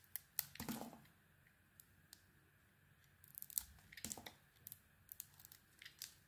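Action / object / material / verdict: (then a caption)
scrape / bar of soap shaved with a metal blade / soap / none. A solid soap bar with a white core and a pink outer layer is held in the hand and shaved with a metal utility blade. The result is a quiet series of short, dry, crisp scraping and carving strokes, some in quick clusters with brief pauses. The strokes have bright, crackly detail and almost no ring after each cut.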